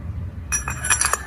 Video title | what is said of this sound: Ganti Bearing Pulley Aspira Vario 110 Led #kirian #cvt #bearing | Kalau dipukul udah bunyinya udah nyaring itu berarti udah mentok ya.